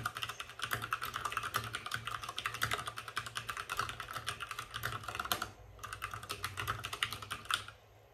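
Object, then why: Plastic mechanical keyboard. Fingertips of both hands type fast on a white RGB-backlit mechanical keyboard with plastic keycaps and a hollow plastic case. The result is a dense stream of short, bright, clacky keystrokes with a hollow plastic ring, pausing briefly around 5.5 seconds. Typing then resumes until it stops near the end.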